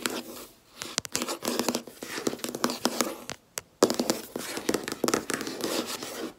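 Long red-painted nails and fingertips tap rapidly on a large, solid, flat white laminate desk top. Dense bursts of sharp, dry clicks and light scratchy nail sounds carry little low end, with brief quiet pauses near the start and middle before the tapping resumes.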